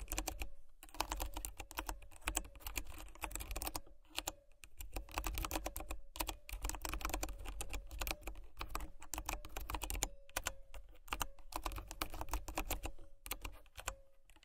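Fingertips and nails type steadily on a white plastic mechanical keyboard with brown switches, making rapid, crisp, bright clacks in dense bursts with a few brief pauses. A faint low hum runs underneath, and a steady mid-pitched tone is heard throughout.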